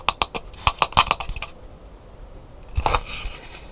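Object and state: Dried calabash gourd bowl tapped and scratched with nails.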